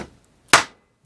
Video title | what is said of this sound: Intermediate Gear Cleaning, Inspection, and Reassembly (Ingersoll-Rand) | it sounds solid you're in you hear the pitch change there